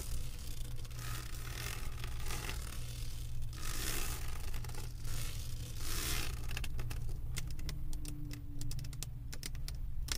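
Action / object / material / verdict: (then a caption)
tap / resin drills on a diamond painting canvas board / resin / none. Long acrylic nails tap and scratch across the resin drills of a flat diamond painting on a canvas board. Soft, bright scratching swells come and go over a steady low hum near 113 Hz. In the last few seconds they give way to a quick run of sharp, clicky taps.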